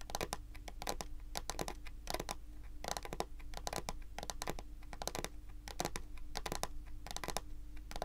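Long pointed acrylic nail tips scratch and tap across a large, solid, glossy dark brown wooden table top. Quick, irregular bursts of sharp, bright clicks and raspy scratches die away almost at once, over a steady low hum.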